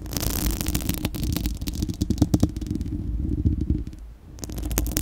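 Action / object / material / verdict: scrape / steel mesh microphone grille / steel mesh / none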